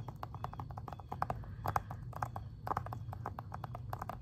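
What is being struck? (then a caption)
Plastic game case. Fingernails tap and scratch the front cover of a plastic Xbox 360 game case. Quick, irregular light clicks with a hollow tone around 800 Hz rise over a steady low rumble, each tap dying away almost instantly.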